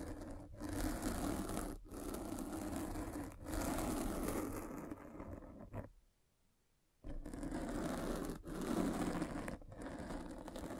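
A derma roller with metal spikes is rolled over the top of a black foam windscreen covering a microphone by a hand with long red nails. It makes a dense, scratchy crackling scrape in long, steady passes separated by brief dips, with a full silence of about a second midway before the rolling resumes.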